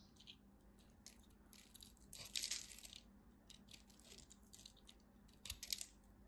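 A craft knife cuts into the corner of a dry, solid red-and-white striped soap bar held in the fingers, crumbling it into small cubes. The result is a quiet run of crisp, bright crunching and scraping clicks, with two denser, louder bursts of crumbling near the middle and the end.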